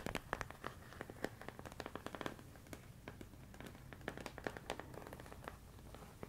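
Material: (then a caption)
Plastic. A medium clear plastic storage container full of rice grains is tapped and scratched with fingertips and nails. It makes quiet, dry, crackly clicks and scratchy rustles that come in quick irregular bursts and stop dead with no ring.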